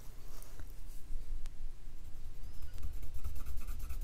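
A wooden colored pencil rapidly scratches and shades back and forth across a thin printed paper dot-to-dot sheet on a wooden table, filling in an area with grey while the other hand steadies the sheet. The result is a soft, continuous, dry scratching and rubbing with a low, muffled rumble underneath and faint bright grainy texture.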